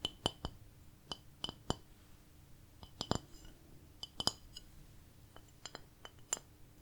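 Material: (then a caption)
Ceramic. A ceramic plate decorated with cats is tapped about 15 times in a slow, uneven rhythm, some taps landing close together. Each tap gives a quiet, bright, glassy clink that dies away almost at once.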